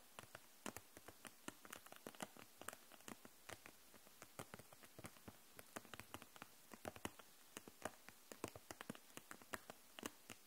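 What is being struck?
Plastic case of markers.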